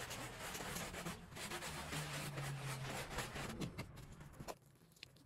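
A gloved hand scrubs a small patterned woven rug, soaked and soapy and lying flat on the floor, back and forth with a handheld brush. Dense, wet, bristly scraping and swishing with bright splashy texture runs over a low steady hum for about four and a half seconds, then drops away to a quiet background.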